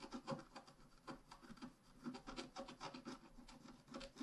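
A wooden stylus scratches flower petals into a thin, flat, black-coated scratch art card in repeated short strokes. The result is a quiet, dry, rasping scrape that pulses with each stroke, low-mid in body with brighter scratchy edges.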